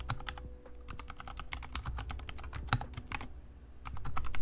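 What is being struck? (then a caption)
Plastic mechanical keyboard. Both hands type rapidly with their fingertips on a compact 60% Kemove Snowfox DK61 hot-swappable mechanical keyboard with white plastic keycaps and RGB backlighting, sitting on a desk. A quick, steady stream of short, bright plastic clacks rises over a constant low hum, growing a little louder toward the end.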